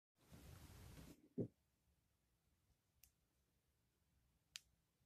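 A dry recycled soap bar, oval and about palm size with a glittery purple-green crust and a green inside, is held in one hand while a metal blade with a yellow handle shaves the crust off. A second of broad, rough scraping leads into a low, sharp crunch, followed by quiet and two faint, bright ticks.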